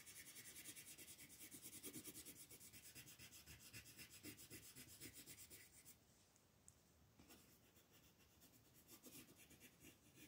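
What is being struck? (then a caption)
Colored pencil on a thin paper sheet. A green colored pencil scratches across a thin sheet of white mandala paper lying flat on a table in fast shading strokes, while a hand with long nails holds the sheet. The strokes make a quiet, bright, rhythmic rasping that eases off for about a second just after the six-second mark, then resumes with lighter scratching.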